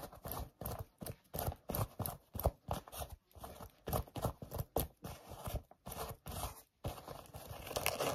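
Short nails scratch fast across the knit upper and laces of a hollow pink knit-mesh sneaker with laces and a ribbed sole edge. The result is a run of rapid, separate bursts of dry, scratchy rustling with a low, thumpy body, and the final stretch turns into a more continuous scrape.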